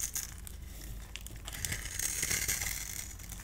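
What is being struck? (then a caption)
Solid bar of soap. A solid pale green bar of soap is held in the hand while its surface is grid-scored and shaved with a multi-blade cutter. It makes a dense, crisp scratching and scraping with a bright, crinkly texture over a faint low hum. The scraping grows louder and fuller in the second half before easing off slightly at the end.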